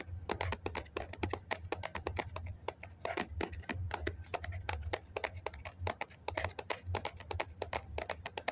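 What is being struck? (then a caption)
Foam cup. A hollow white foam cup is held in both hands while fingertips and nails tap rapidly on its side. The result is a dense run of short, dry, bright clicking taps over a steady low hum.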